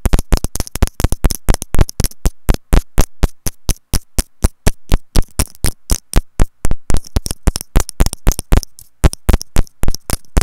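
Long nails and fingertips tap directly on a small, hollow white plastic inline remote microphone on a wired earphone cable, held in a loop, which is itself the recording microphone. The result is a rapid, uneven stream of close, deep, boomy thumps, each with a short bright click on top, decaying almost instantly with brief gaps of near silence.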